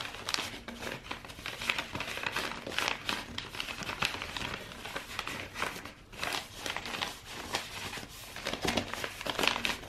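A long roll of brown, star-printed kraft wrapping paper, rolled into a hollow tube and held horizontally in both hands, is squeezed and rubbed with the fingers. It gives a steady stream of dry, bright crinkling and crackling, with many short sharp bursts across the whole clip and very little low end.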